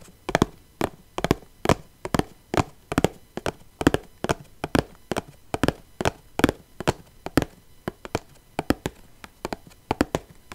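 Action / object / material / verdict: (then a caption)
tap / small plastic box filled with loose rhinestones / plastic / none. Long painted nails tap the lid of a small clear plastic box filled with loose rhinestones, held in one hand. About three dozen sharp, dry clicks come in an uneven rhythm, each a brief broadband snap with a low hollow body near 280 Hz that dies away almost instantly.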